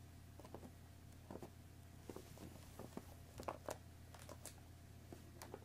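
Long nails tap the top of a hollow cardboard Earl Grey tea box, then the box is gripped by its sides and tapped there too. The result is soft, dry, short clicks and papery taps with bright edges over a steady low hum in the background.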